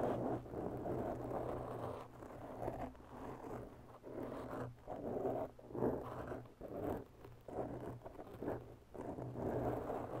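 Long bare natural nails scratch slowly around the edges of a round, porous black foam windscreen on a white microphone. The result is a steady series of soft, raspy scratching strokes, each rising and fading, with a low steady hum underneath.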